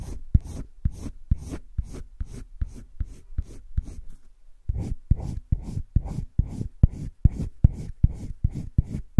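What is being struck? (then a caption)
Colored pencil on drawing paper. A hand-held yellow-green colored pencil shades strokes over flat cream drawing paper in a wire-bound spiral sketchbook. About 21 quick, dry scratchy strokes come in a steady back-and-forth rhythm, each a short burst of papery rasp with a low thump, with a brief pause midway.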